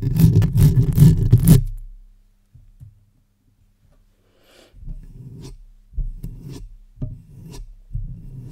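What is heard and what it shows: Long white-tipped acrylic nails from both hands scratch and rub the hollow metal mesh grille of a black Blue Yeti USB microphone mounted on a stand, working over its top and sides and then the front of the metal body. The sound is a low, rumbling rasp: a dense burst of scratching at first, a near-silent pause, then a series of shorter scraping strokes.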